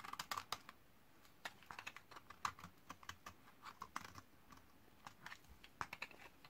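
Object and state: Dry laundry soap being shaved.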